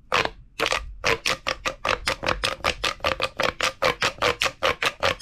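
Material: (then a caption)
Plastic. A large, hollow, empty purple corrugated plastic pop tube is held in the hand and squeezed and crunched with the fingertips over a wooden table. About twenty-five quick, bright crinkling crunches follow one another in a fast, somewhat uneven rhythm after a short pause near the start. Each crunch carries a hollow tone around 520 Hz and dies away almost at once.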